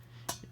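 A single tap on the metal expansion tank of a home heating system produces one short, bright ding centered near 980 Hz, with a quick ring over a steady low hum. The ding means the tank is good and has no problem; a tank that does not ding has to be replaced with a new one.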